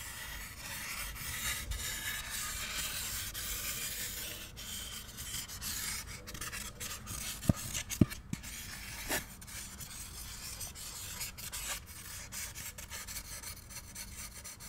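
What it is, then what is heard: Polystyrene foam packaging insert. Two halves of a white molded polystyrene foam packaging insert, hollow with a cut-out hole, are rubbed and squeaked together by both hands. A steady, bright, raspy rubbing with squeaky, scratchy texture runs throughout, broken by a few sharp, short clicks a little past the midpoint.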